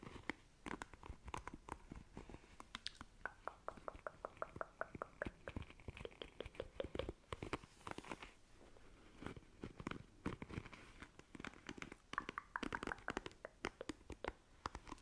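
Long nails scratch and strum the bristles of a black plastic paddle hairbrush, making a quiet, rapid run of dry, crisp clicks and plucks with no ring. The ticking comes in dense bursts across the whole clip, with brief sweeping scratches between them.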